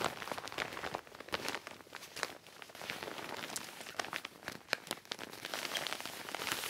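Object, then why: Metallic quilted nylon bag. Long nails and fingertips tap and scratch across a medium gold metallic quilted nylon puffer-style bag, soft and padded, lying flat on a table. The shiny foil-like surface gives a dense, bright, crinkly patter like rain, with quick dry ticks and almost no low end or ring.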